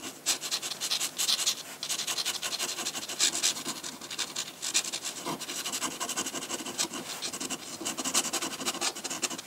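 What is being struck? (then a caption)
Drawing paper sheet and metal dip pen nib. A metal dip pen nib scratches hatching onto a large flat sheet of white drawing paper. Quick, dense, bright scratchy strokes run almost without pause for the whole clip, with a few louder, sharper scrapes standing out from the steady rasp.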